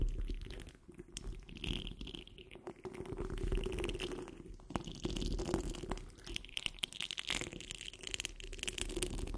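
Long fingernail tips on curled fingers scratch across the rounded, hollow steel wire-mesh grille of a large condenser microphone. The result is a dense, crackling rasp with bright, gritty highs over a heavy low rumble and a steady hum near 330 Hz. The scratching swells and fades in uneven bursts.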